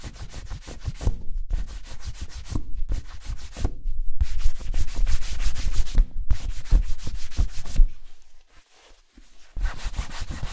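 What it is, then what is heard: Leather boot buffed with a cloth. A cloth strip held taut in both hands is pulled rapidly back and forth across the toe of a worn black leather Chelsea-style ankle boot in a shoe-shine buffing rub. The result is a fast, rhythmic, swishing rasp of about three strokes per second, delivered in bursts separated by short pauses. Near the end, a longer quiet stretch comes before the rubbing resumes.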